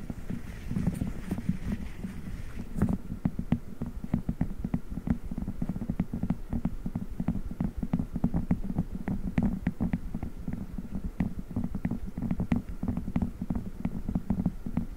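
A blue silicone spiked massage pad rests on a microphone grille while fingers squeeze and rub it rhythmically. This produces a steady stream of dense, low, muffled thuds and squishy rubbing with short sharp clicks. The sound is close and bass-heavy throughout.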